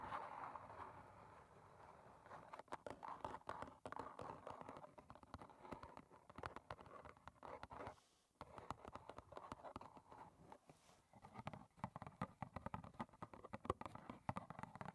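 Long red nails tap quickly on the front face of a small, closed, hollow rectangular cardboard box of Clipper green tea standing upright. The result is a dense run of soft, dry, hollow clicks centered in the midrange, with a brief lull around the middle before the rapid tapping resumes.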